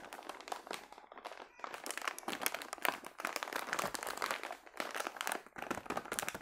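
A long, full yellow plastic packet of round biscuits is held in both hands and squeezed and crinkled with the fingers. Dense, bright crinkling and crunching crackles come in bursts with brief pauses between them. The sound has almost no low end.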